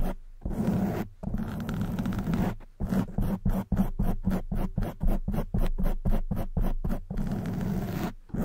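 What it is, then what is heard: Foam microphone windscreen being scratched. Long white nails scratch the front and sides of a soft black foam windscreen on a silver condenser microphone. The result is close, muffled, bass-heavy rasping that comes in a rapid series of short bursts separated by brief silences.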